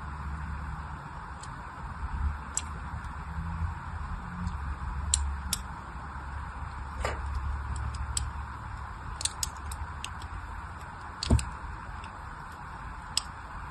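A blade scores a cross-hatch pattern into a solid orange bar of soap held in the hand, making short, bright scratching clicks scattered through the clip. Beneath them runs a steady low hum with a mid-range hiss.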